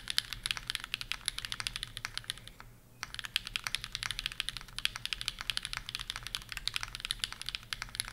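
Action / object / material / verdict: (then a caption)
tap / mechanical keyboard with aluminium plate and plastic keycaps / aluminium, plastic / none. Fast typing with both hands on a Bear65 v2 65% mechanical keyboard with PureBerry, an aluminum plate and plastic keycaps. Dense, continuous, bright clacky keystrokes with very short decay pause briefly just before the three-second mark, then resume at full speed.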